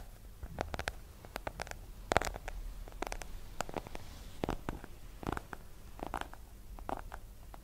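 Long nails tap rapidly and irregularly on the cover of a small, solid hardcover book with a yellow cover. Each tap is a short, dry click that stops almost instantly, with some louder taps standing out over a soft, low background rumble.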